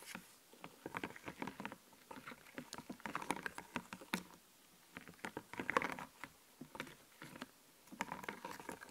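Fingernails scratch and pick at a sheet of puffy, glittery plastic clothing-themed stickers on a clear backing, held close. The result is quiet, dry crackling and rapid clicky ticks that come in short bursts separated by brief pauses.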